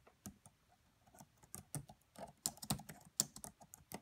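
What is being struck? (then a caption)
Plastic laptop keyboard keys. Fingertips and long manicured nails of both hands type on the black plastic chiclet keys of a red laptop with a hollow body. Quiet, bright, clicky taps come in an uneven run with very short decay, with about eleven distinct key strikes over four seconds.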